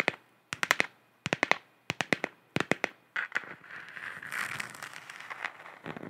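Long nails tap in quick clusters on a hollow, galaxy-printed plastic sphere lamp about 15 cm across, making sharp, bright clicks with a ring around 2 kHz. The tapping then turns into a steady, hissy scratching across the plastic surface.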